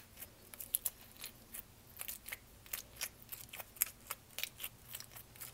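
Long nails rapidly tap and scratch the plastic lid of a small clear lidded plastic tub full of purple slime. Around twenty quick, crisp, bright clicks and scrapes sound at a quiet level, with very little low end and almost no ring after each tap.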